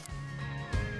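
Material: Nothing is struck.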